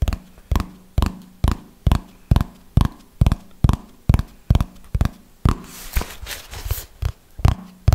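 A red hardcover notebook, held upright, is tapped on its cover with fingernails in a slow, steady rhythm of short, dull, low thuds. Partway through, the fingernails scratch across the cover, giving a brighter, rough rustle before the tapping resumes.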